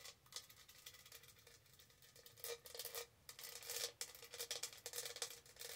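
Long nails scratch and rub over the raised studs of a tall, hollow pink textured plastic tumbler held tilted. The result is quiet, bright, dense scratchy rasping in uneven bursts, with a faint hollow midrange tone under the grit.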